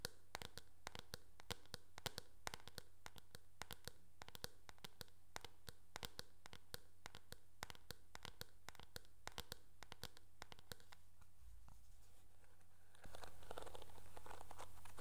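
Fingernails tap rapidly on the back of a teal plastic hairbrush, producing a steady stream of sharp, dry clicks about four per second over a low, constant hum. Near the end the tapping stops and a louder, rustling handling sound follows as the brush is turned over to show its bristles.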